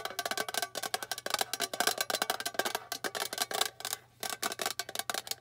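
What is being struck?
Small flat metal tin box.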